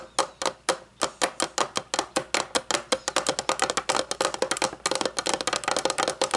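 Long fingernails rapidly tap a round, hollow, shiny metal candle lid, first held and then lying on a wooden table. About 35 sharp, bright clicks come in quick succession, speeding up toward the end. Each click carries a faint metallic ring around 527 Hz that dies away almost at once.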